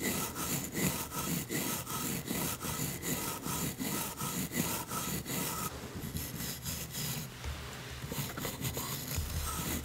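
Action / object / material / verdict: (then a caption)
scrape / painted wooden toy teeth brushed with a wooden toothbrush / wood / none. A wooden toothbrush with blue bristles, held by a long-nailed hand, brushes back and forth over a row of solid painted wooden toy teeth. It makes a steady run of dry, bright scraping and rubbing strokes with a woody rasp, briefly softer and smoother in the middle before the strokes pick up again.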